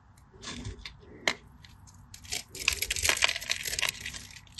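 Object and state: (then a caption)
Bar soap being scored. A solid cream-coloured bar of soap, held in the hand, is scored in a crosshatch pattern with a small metal blade, and flakes crumble off. Dry, bright scraping and crisp crackling come in quick bursts, with sharp clicks at about 1.3 s and at the end.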